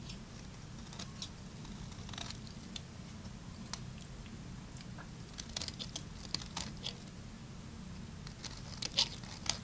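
A solid, partly carved, dry pale green bar of soap is held and shaved with a small metal blade, flakes curling off. Quiet, dry crunching and crisp scraping crackles come in bright, irregular bursts over a steady low hum, growing a little louder and sharper toward the end.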